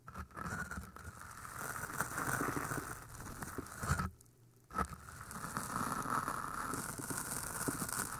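Long painted nails scratch down the sides of two identical pale green floral foam cylinders, solid porous foam with microphones inside. The result is a continuous, close, scratchy crackling and rustling that drops to near silence for about half a second just past the four-second mark, then resumes.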